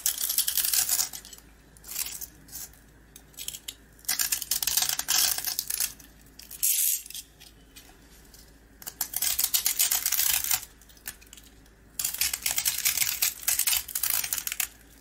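A box-cutter blade scrapes the hard green coating off a small round rusk held in the hand and carves into its dry, solid bread. Bursts of bright, crisp, gritty scraping alternate with short quiet pauses, each stroke dry and short with almost no ring.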